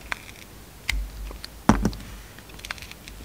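A steel utility-knife blade cuts slices off a hand-sized, solid green and white soap bar with a glitter edge, held in the hand. Soft, crisp scraping clicks and bright ticks are spread through the quiet clip. The strongest slice lands in the middle with a dull low thud and dies away almost at once.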